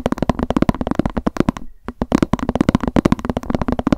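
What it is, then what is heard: Plastic lunch box. Long nails tap and scratch rapidly on the side of a hollow white plastic lunch box with a cat print, held upright. The dense run of short, dry clicks has a hollow, low tone and pauses briefly near the middle before resuming at the same fast pace.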